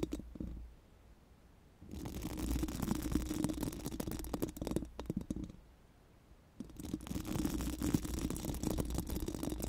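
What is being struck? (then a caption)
Steel mesh microphone grille. Four pink silicone spoolie brushes are rubbed over a bare, hollow steel mesh microphone grille. Two long bursts of dense, bristly scratching with a low hum are separated by near-silent pauses.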